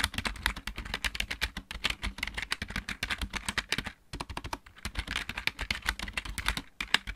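A full-size backlit plastic mechanical keyboard is typed on rapidly with both hands, using fingertips and nails. A dense stream of short, bright clicks and clacks runs throughout, with a soft low thud under each press. There is a brief pause just after the four-second mark before the typing picks back up.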